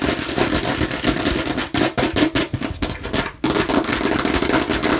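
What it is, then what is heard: Plastic watermelon-slice container. A hollow, hard plastic watermelon-slice container with a red spout cap, held near the face, is tapped rapidly with long nails and fingertips. The result is a dense run of sharp, clicky taps over a hollow, mid-pitched resonance, with brief pauses near 1.7 and 3.4 seconds.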